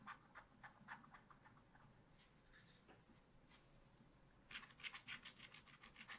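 A wooden stylus held upright scratches dense strokes into the black coating of a flat scratch-art paper page. Quick, bright, dry scraping strokes come in a rapid, uneven rhythm, thinning to a faint rasp in the middle before a louder, denser run of strokes near the end.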